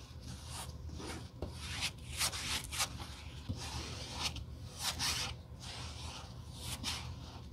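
Gloved hands hold a solid black rubber sole blank for a Birkenstock sole replacement while a metal rod is rubbed across its glued surface, then gloved fingertips press along the edge. Repeated bright, raspy rubbing strokes rise and fall over a low, steady rumble, each stroke ending quickly with no ring.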